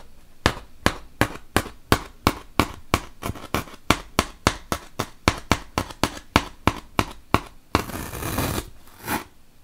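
A wooden toothpick is poked repeatedly into a large, solid white melamine foam magic eraser block, making 22 short, crisp pops in a steady rhythm. Each pop is bright and dies away almost instantly. A longer, rough, noisy burst follows, and then one final pop.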